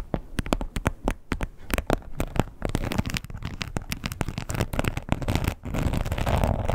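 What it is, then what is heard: Textured leather wallet tapped and scratched with nails. Long nails tap and scratch the surface of a red, glossy, croc-embossed leather wallet. Rapid, dull, low-heavy taps with almost no ring mix with a dry, crackly scratching that grows into a steadier rasp toward the end.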